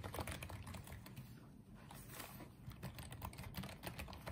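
Fingertips type on and tap the keys of a small pink and white plastic Apeach wireless keyboard. The result is a quiet, irregular run of short plastic clicks with soft, low thuds under each keystroke and a brief lull in the middle.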